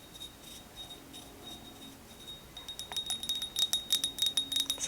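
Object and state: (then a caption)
Ceramic mug. A ceramic Hello Kitty sakura mug that matches a trinket dish is tapped with fingernails, giving bright, high, chime-like pings that ring briefly. After a quiet start, the taps come in a quick, uneven run that grows louder through the second half.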